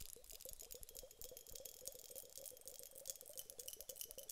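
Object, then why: Glass hourglass filled with gel beads. A glass hourglass filled with gel water beads is tilted and tapped end-on with long nails on its round bulb. The taps come as a rapid, steady stream of light, bright clicks, each with a soft low knock underneath. The beads can be heard shifting softly inside between taps.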